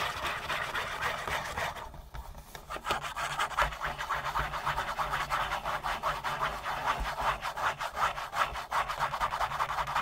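Fingernails scratch fast across a hollow Kleenex tissue box made of printed cardboard with a dispensing slot. The result is a dry, rasping stream of rhythmic strokes centered in the upper mids, easing briefly around the two-second mark before resuming steadily.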